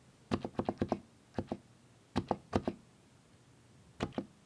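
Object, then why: Mechanical keyboard with plastic keycaps. Fingertips press the plastic keycaps of a mechanical keyboard, making 13 short, dry clacks with a muted, low-mid thock and almost no ring. The keystrokes come in quick clusters separated by pauses of near silence.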